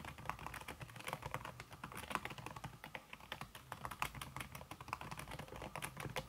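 Fingertips with red-painted nails type fast on a slim backlit aluminum keyboard whose keys are covered by a red silicone skin. A dense, quiet stream of soft, short clicks and taps with a muted midrange thud sits over a low background hum. The clicks stop almost instantly, with no ring.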